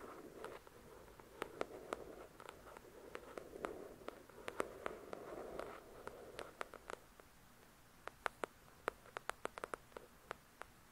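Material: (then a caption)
Paper. Long nails tap and scratch on the paper cover of a paperback copy of "The Shack" lying flat. For the first seven seconds, soft scratching rasps under sharp, bright taps. The rest is mostly quiet with scattered crisp, dry taps.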